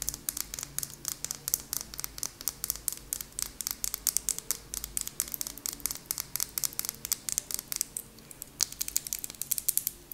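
Long nails tap rapidly on a small, apparently full purple glass nail polish bottle with a white plastic cap. The taps are sharp, bright clicks with almost no ring, coming in quick irregular bursts over a faint low hum.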